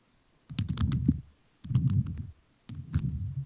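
A microphone fully covered in rhinestones is tapped with fingertips whose nails are also covered in rhinestones. Three short bursts of rapid, crisp clicky taps are heard, each with a dense low thump under sharp, bright, quickly fading clicks, separated by brief silences.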